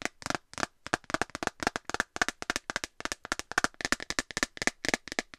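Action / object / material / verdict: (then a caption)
tap / clear plastic phone case / plastic / none. An empty clear plastic phone case, held near the mic, is tapped rapidly with long nails on its flat back. It makes a quick run of sharp, dry clicks with a bright plastic tone centered around 1.5 kHz and almost no low end. Each tap dies away instantly, with no ring.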